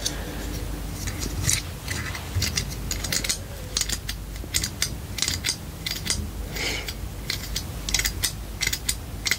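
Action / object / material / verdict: tap / plastic claw hair clip / plastic / none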